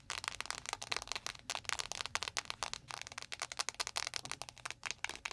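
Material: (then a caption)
Plastic. Long nails tap fast on a clear plastic, panda-shaped ice pack filled with gel, which is standing on the microphone. Rapid, dry clicks with a bright, crackly edge follow one another at an uneven rhythm, each dying away almost instantly. There is little low-end body.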